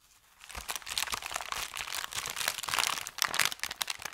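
Fingertips scrunch, rub and press flat an empty, thin brown kraft paper bakery bag. After a brief near-silent moment, a dense run of bright, sharp crinkles and crackles fills the rest of the clip, with almost no low end.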